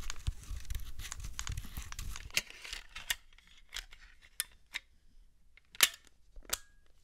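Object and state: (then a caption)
Plastic handheld console, hollow. A small, hollow, white plastic PlayStation Portable handheld is tapped with long nails, its buttons are clicked and its disc door is snapped open. A dense flurry of quick, bright plastic taps fills the first couple of seconds, followed by sparser, sharp clicks over a quiet background. The loudest snap comes near the end.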